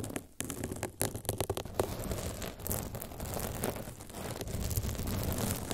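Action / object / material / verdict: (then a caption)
scrape / foam microphone windscreen / foam / none. Long pink and blue nails scratch the front and sides of a large blue foam windscreen shaped like a teddy bear, fitted over a microphone, while a pink cover beside it stays untouched. Close, dense scratching and rubbing comes through as a muffled, low-heavy rumble with quick scraping bursts early on, then settles into a steady, continuous scratch.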